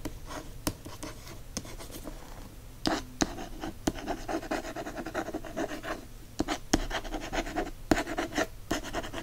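Fingernails scratch and tap the matte paper dust jacket of a hardcover book held in the hand. Steady, dry scratching runs throughout, broken by sharp, short taps on the cover.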